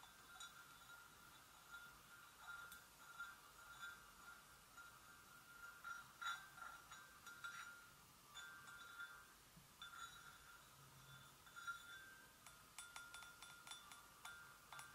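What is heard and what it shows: Long nails gently and sparsely tap the sides and handle of an empty, hollow white porcelain gravy boat. Each tap gives a light, glassy clink that rings at a steady tone around 1.4 kHz with a faint bright overtone, the strokes spread out across a quiet background.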